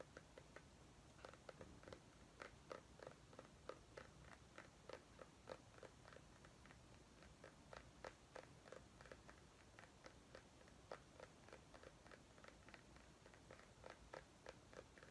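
A small white ribbed mini pumpkin, held in both hands, is tapped with long nails along its ribs. About thirty quiet, sharp clicking taps come at an uneven pace of roughly three per second. Each tap is short and dry, with a faint hollow tone near 530 Hz over a low background hum.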